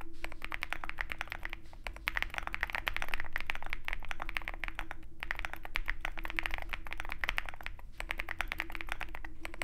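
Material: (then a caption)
Aluminium, plastic. A compact 65% mechanical keyboard in a dark aluminum case, foam-filled and fitted with white and pink plastic keycaps, is typed on continuously with the fingertips of both hands. The keystrokes form a dense, uneven stream of short, crisp clicks over a low steady hum, with a faint tone running underneath.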